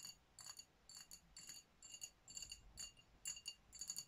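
Long nails tap the glass body of a dark glass sparkling wine bottle with a foil top. Bright, thin clicks with a faint glassy ring come in quick clusters roughly twice a second at an uneven pace. Each one dies away almost at once, with little low end beneath them.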